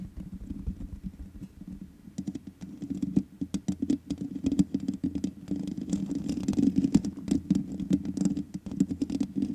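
Fingertips and long nails rub and tap the sides of the black metal mesh grille on the hollow head of a large USB condenser microphone. The result is a steady stream of close, dry scratches and quick ticking taps with a low, boomy body and faint bright edges. The sound grows busier and louder in the second half.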